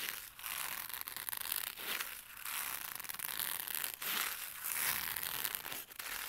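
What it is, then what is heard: Fabric zippered case. Fingers scratch and rub the textured surface of a flat black fabric-covered zippered CD wallet with a mesh panel as it lies on carpet. The result is a steady, bright, hissy rasping in quick strokes, with brief dips between passes and almost no low end.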